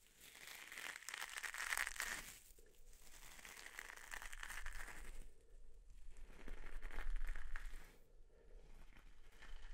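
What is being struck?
Coiled copper mesh scouring pad.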